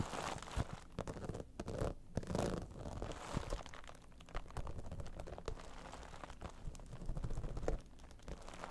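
Long nails scratch the top of a slightly squashed holographic vinyl cosmetic bag, a soft, iridescent, dimpled synthetic pouch. The result is a steady run of dense, crunchy, crinkling scratches with quick, short clicks. The sound is weighted toward a low, muffled body, with little high brightness.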